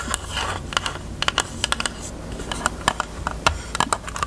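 Long nails tap quickly on a closed, hollow, pink hard plastic rectangular case with a cherry print. The result is a rapid, uneven run of short, bright clicks that die away almost instantly, over a faint low hum.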